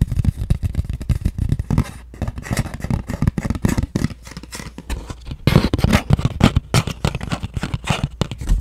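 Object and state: Cardboard jewelry box.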